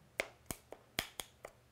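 A plastic Canon EOS 6D Mark II camera body is tapped seven times, producing short, dry, bright clicks with no ringing. The sound marks it as plastic with no metal anywhere, a body that would crack if dropped.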